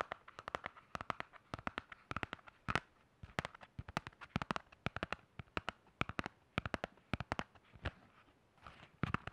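Fingernails tap and scratch on the hard cover and metal spiral of a black hardcover spiral notebook held close to the microphone. The result is a rapid, irregular series of sharp, crackly clicks with very short ring, bright around 1–2 kHz, with brief soft scratching between taps.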